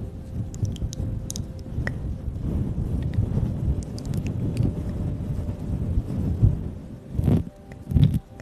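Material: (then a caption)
Synthetic fur. A fluffy grey-black faux-fur windscreen over a microphone is scratched and rubbed with long pink acrylic nails and the fingertips of both hands. The result is a dense, muffled, low rumbling scrape with faint crackly ticks on top. Two louder rustling bursts come near the end.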